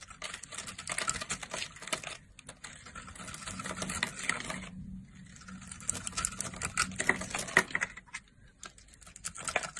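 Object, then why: Bar of soap. A solid blue Duru soap bar, held in a hand with long nails, has its edge shaved and scraped with a red-handled blade, sending chips flying off. Rapid, dense, crisp scraping and crackling ticks fill the clip with bright, high texture. Brief quieter pauses come around the two- and five-second marks.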